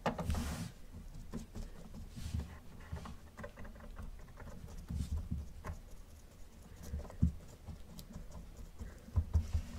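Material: Plastic.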